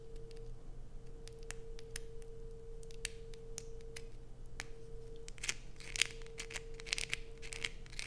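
Long acrylic nails scratch and shave the surface of a light-blue bar of soap held in the hands, over a pile of shavings. Many quick, bright scratching clicks come through, some louder than others, over a steady low hum and a faint constant tone.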